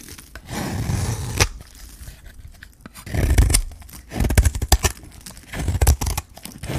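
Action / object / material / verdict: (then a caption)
scrape / bar of soap shaved with a metal blade / soap / none. A metal blade shaves thin strips off the face of a solid, dry green bar of soap with a gold rim, held in the hand. Dull, low-heavy scraping and crunching strokes come in uneven bursts, with brief crisp tearing textures and short bright clicks between quieter gaps.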